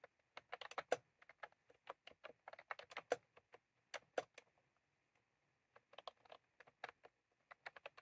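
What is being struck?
Plastic mechanical keyboard keys.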